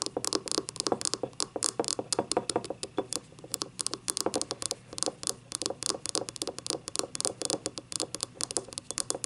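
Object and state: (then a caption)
Ceramic cup tapped and scratched with fingernails. Long painted nails rapidly tap and scratch the unglazed bottom rim and paper label on the base of a small, hollow, empty yellow ribbed ceramic cup lying on its side. The result is a dense, steady patter of short, dry, bright clicks and scratchy strokes with a faint hollow tone around 480 Hz and almost no low end.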